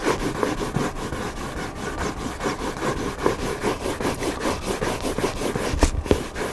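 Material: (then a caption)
Cardboard. Fingertips scratch across the white back cover of a hardcover book lying cover-up. The result is a steady run of rough, irregular scratching strokes, dense and papery with a mid-range body and a faint bright hiss, and a few slightly louder scrapes near the end.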